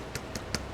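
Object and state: Plastic game control side panel.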